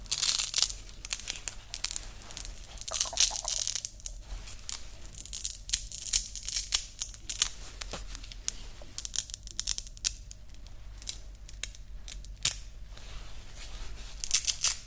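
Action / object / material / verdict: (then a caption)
scrape / woven nylon watch strap with hook-and-loop fastener / nylon / none. A grey woven nylon watch band has its hook-and-loop part pressed together and ripped apart by fingers, with some scratching. Quick, bright crackling tearing bursts and rustles come in clusters over a faint low hum.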